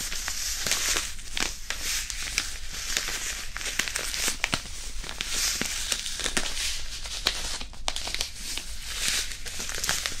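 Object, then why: Disposable hand warmer, fabric pouch with iron powder. A small white printed disposable hand warmer, a non-woven fabric pouch filled with iron powder, is rubbed and crinkled with the fingers close to the mic. The result is a steady, dense, bright crinkling and scratching texture dotted with frequent sharp crackles, with a faint low rumble underneath.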